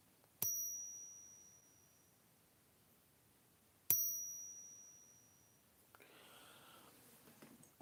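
An old '85 silver coin is ping-tested twice, each strike giving a sharp, bell-like ring that fades over roughly a second. Faint handling noise follows the second ring.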